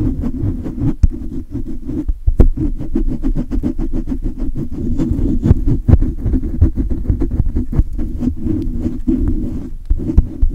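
Both hands grip a silver condenser microphone and rub its hollow metal mesh grille aggressively with fingers and palms. The result is a dense, boomy low rumble with a steady murmur just above it, broken by rapid, sharp scratchy clicks and thumps that crowd together with no pauses.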